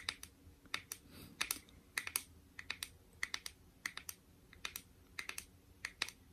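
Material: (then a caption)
Metal. A small, shallow, round metal tin of My Melody shea butter is held in the hand while fingernails tap its lid and rim. About 25 quick, sharp, bright clicks come in an irregular rhythm, often in close pairs, each dying away almost instantly over a quiet background.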